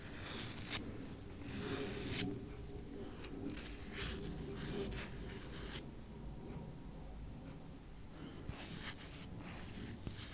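Fingernails scratch and pick at the edge and side of a wide white masking tape roll, paper tape on a hollow cardboard core, while the roll is turned in the hand. Soft bursts of bright, scratchy rasping come and go over a low, steady rumble, with a few faint sharp ticks near the end.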